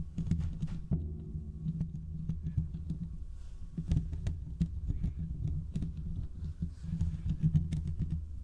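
Short fingertip nails scratch and tap the hollow metal mesh grille of a large condenser microphone. The result is a dense, muffled low rumble of scratching, broken by quick dry taps with faint bright clicks over about eight seconds.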